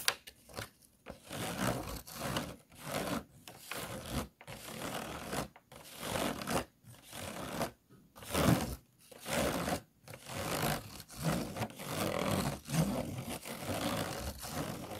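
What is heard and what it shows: Fingernails scratch along the ridged sides and bumpy base of an empty, hollow, disposable clear plastic food container. About a dozen separate bursts of dry, raspy scratching follow one another, each a quick run of ticking clicks over the ridges, with brief quiet gaps between strokes.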